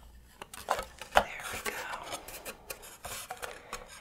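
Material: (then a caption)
Plywood. A small, hollow, unpainted laser-cut thin plywood doghouse decorated with drawn hearts is held in the hand and rubbed and scratched with long nails and fingertips. Irregular, dry scratching and light tapping strokes produce bright, woody rasps and short, muffled clicks with almost no ring. A sharper knock stands out near the one-second mark.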